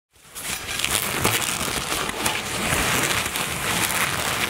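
Long natural nails tap and scratch a soft black satin cosmetic bag with floral embroidery, apparently filled, resting on a table. A steady, dense crackling and rustling hiss builds over the first half second and holds, with soft irregular taps throughout.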